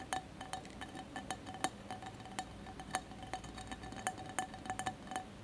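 Fingertips and nails of both hands tap quickly on the sides of a colored mosaic glass candle holder with a lit candle inside. The result is a rapid, uneven series of light glassy clinks, each with a short ringing tone near 750 Hz and bright overtones, over a quiet background.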